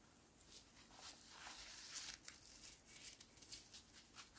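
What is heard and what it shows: A whole, hand-sized fibrous coconut is held up while a knuckle and fingertips tap and scratch its hairy husk. The result is a quiet, bright, dry scratching and rustling with a few short, soft taps that stop without ringing.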